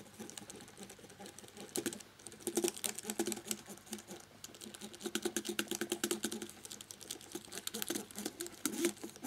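A cotton swab held in the fingertips rubs and scratches around the edges of the keys on a black plastic laptop keyboard with its keycaps on. The result is quiet, dense, rapid scratchy ticks and soft rubbing with bright, crisp clicks, rising into busier bursts at times.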